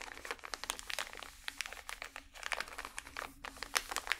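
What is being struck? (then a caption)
Pack of cotton swabs in plastic wrap. A small, full pack of cotton swabs wrapped in crinkly plastic is squeezed and crinkled with both hands and fingernails. Dense, bright crackles and crinkles come in rapid bursts with very short decay and almost no low end. No verdict on its state is given.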